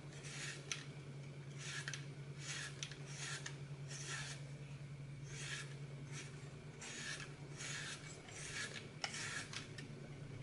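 A hand-sized solid green floral foam brick with a blue glitter picture on top is held in one hand while its edge is cut and scraped with a red-handled knife over a glass bowl. Repeated short, bright rasping scrapes come in bursts, with a few sharp clicks, over a steady low hum.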